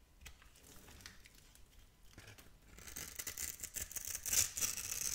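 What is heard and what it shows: A palm-sized, solid purple and pink striped bar of soap is held in hand while a metal blade scrapes off small cubes. It starts as quiet, sparse scratching, then after about two seconds becomes a denser run of bright, crisp scraping and crackling strokes that grow louder toward the end.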